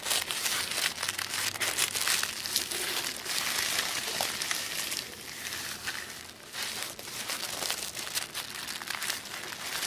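A creased sheet of black tissue paper on a wooden table is smoothed and rubbed with flat fingertips. It makes dense, bright, papery crinkling with almost no low end and quick crackles that do not ring on. The sound is busier and louder for the first half, then settles into softer, sparser rustling.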